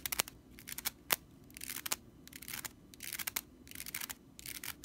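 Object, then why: Straw whisk broom bristles. Long nails scratch quickly across the bristles of a stitched straw whisk broom, making dry, bright rattling and scraping bursts with sharp clicks between them. The sound is mostly high-pitched with almost no low end, and each scratch stops abruptly.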